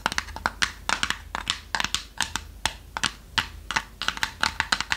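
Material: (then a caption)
Plywood. Long nails tap rapidly on the lid and sides of a small, light, hollow plywood box shaped like a treasure chest, closed with a brass clasp and held in hand. About two dozen quick, dry, hollow taps arrive in uneven bursts, each bright and clicky with almost no ring.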